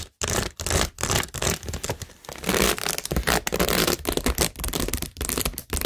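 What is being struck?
Cork board set with plastic rhinestones and pearls.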